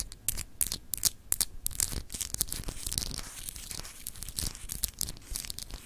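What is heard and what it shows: Long acrylic nails scratch across a small, solid, clear etched glass globe paperweight. Rapid, dry scratching bursts with bright, crisp ticks and a faint low rumble underneath, with no ringing between strokes.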